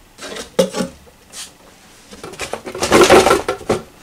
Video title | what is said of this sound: Présentation du microscope Andonstar AD407 Open box et mise en service. | j'ai beau secouer la boîte. Il n'y est pas.